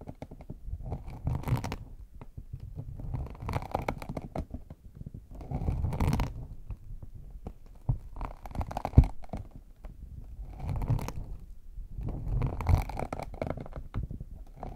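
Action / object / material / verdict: scrape / small faux leather hard shell case / faux leather / none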